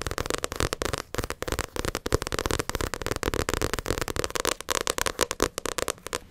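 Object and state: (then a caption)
Paperback book tapped with fingernails. Long acrylic nails tap and scratch the glossy cover of a paperback Naruto manga volume held up close. A rapid, uneven stream of sharp, dry clicks mixes with crackly scraping, each tap short with almost no ring, spanning from a low thump to a bright edge.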